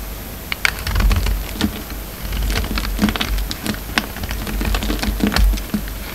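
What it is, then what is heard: Soap bar being carved. A hand-held solid white soap bar with red and blue coating remnants is carved and scraped with a utility knife blade. Rapid, crisp ticking and scraping cuts come in quick clusters over a steady low rumble. Each stroke is short and dry, with no ringing.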